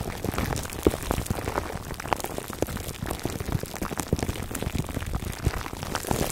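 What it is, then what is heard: Plastic-wrapped foam microphone cover. Fingertips scratch the sides of a foam microphone cover wrapped in clear plastic, producing a dense, steady stream of close-up crinkling and rustling. The sound is full of many small, sharp crackles and has a low, muffled body.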